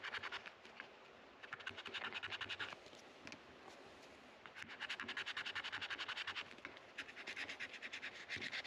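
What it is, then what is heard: Rosewood guitar fretboard being scraped. A white plastic card, held by the fingertips, is scraped back and forth across a solid dark rosewood guitar fretboard between the frets, with the neck resting on a neck rest. It makes bright, dry, rapid scratching strokes in bursts, separated by brief quieter rubbing.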